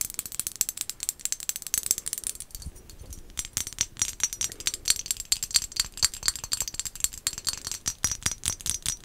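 A small, hollow, glossy black-and-white striped ceramic pumpkin decoration is held in the hands and tapped rapidly with long acrylic nails. The taps make a dense stream of sharp, bright clicks that die away almost instantly, with a brief quieter stretch early on before the tapping picks back up.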